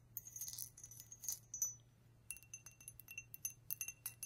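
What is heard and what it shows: A vintage ridged drinking glass, one of a set of nine from a grandmother's estate, is tapped repeatedly. Soft, bright clinks ring out in quick clusters with short decays over a faint low hum.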